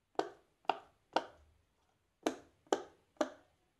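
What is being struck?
Silicone pop-it fidget toy.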